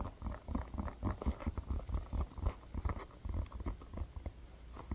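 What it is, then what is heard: Foam toy football. A solid, textured blue foam football is held in the hands and tapped and scratched with the fingertips and nails. The result is a quick, irregular run of soft, dull, low thumps with a faint scratchy rustle and almost no ring after each touch.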